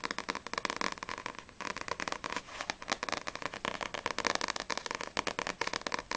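Long painted nails tap fast across the glossy paper front cover of a small, solid paperback manga, Sprite vol. 3, held in both hands. About thirty crisp, dry clicks come in a rapid, uneven stream, each very short with almost no ring. The taps sound bright and papery, centered around 1 kHz, with very little low end.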